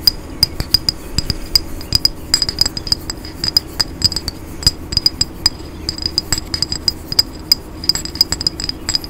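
A tall, hollow grey smoky glass cologne bottle with a gold cap is held in both hands and tapped with fingernails. Quick, irregular bright clicks come in a steady stream, each with a short high glassy ping that dies away almost at once over a faint low background hum.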